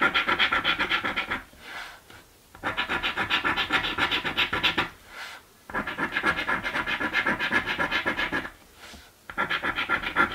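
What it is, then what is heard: Scratch card scraped with a coin. A coin edge scratches the coating off a thin green paper scratch lottery ticket while the other hand holds the card. Rapid, bright, rasping strokes of about four per second come in four bursts, separated by brief quieter pauses with faint rubbing.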